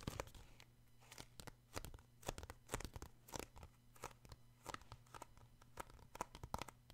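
A paperback children's book with a glossy card cover is held in one hand while fingertips and short nails tap and scratch the cover. The result is a quick, irregular run of sharp, dry taps and crackly scrapes over a steady low hum.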